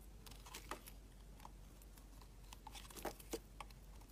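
A utility knife blade cuts thick curls off a solid, translucent orange glycerin soap bar. Quiet, irregular, short crisp scrapes and cutting crackles carry bright, papery highs over a steady low background hum. Each slice is dry and dies away almost at once.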